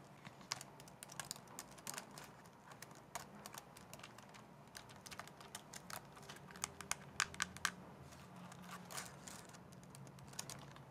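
Long dark nails tap and type on the keys of a white plastic laptop keyboard, its base held upright close up. Rapid, uneven, bright plastic clicks, some sharper and louder than others, rattle over a faint low hum for about eleven seconds.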